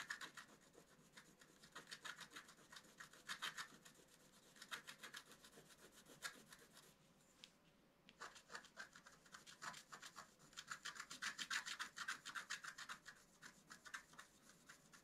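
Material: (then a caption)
Coated paper. A wooden stick scratches the coating of a flat black-coated scratch-art card, making a rapid series of dry, raspy strokes that are bright and high-pitched. A brief lull comes around the seventh second before the quick scratching resumes.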